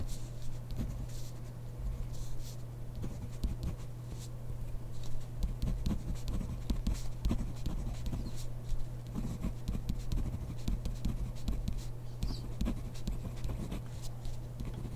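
A hand writes with a ballpoint pen on grid paper in a spiral notebook, the pen tip scratching the page in quiet, uneven strokes. A steady low hum runs underneath throughout.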